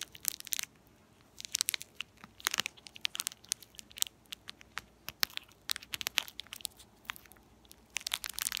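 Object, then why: Metallized plastic candy wrapper. A small, empty, shiny purple metallized foil-plastic candy or gum wrapper is held at both ends and crinkled and squeezed between fingertips with long purple-painted nails. It produces irregular bursts of sharp, bright crackling and crinkling, with almost no low end and quiet gaps between clusters. Each crackle cuts off almost instantly.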